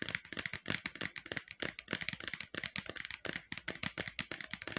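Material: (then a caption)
Plastic. Long painted nails tap quickly on the outer side wall of a round, hollow, empty-looking red plastic bowl held sideways near the face. About thirty rapid, dry, hollow clicks follow one another with almost no ring, bright and crisp with little low end.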